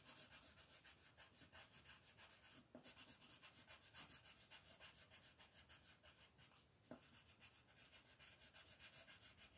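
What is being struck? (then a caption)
Colored pencil on a paper sheet. A green colored pencil is rubbed with rapid, scratchy strokes to shade a flat white paper mandala coloring sheet on a table while the other hand rests on the paper. About thirty quick, slightly uneven strokes make a steady, bright, dry rasping that sits mostly in the high range, with little low end and a couple of brief pauses.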